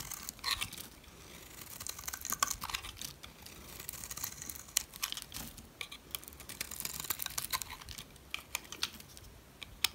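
A metal blade chips and scrapes flakes off a solid yellow rectangular dry soap bar held in a hand with red nails. The result is a steady run of crisp, bright scraping and crunching clicks, with almost no low end, over ten seconds.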